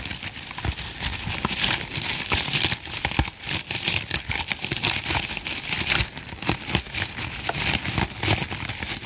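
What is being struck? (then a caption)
Foam kitchen sponge. A hand-sized green foam kitchen sponge with a tan middle layer, soft and porous, is held in one hand while the fingertips and nails of the other hand scratch and squeeze its surface. The result is a steady, bright crackling hiss like rain pattering on a surface, scattered with sharp little clicks and soft low thumps throughout.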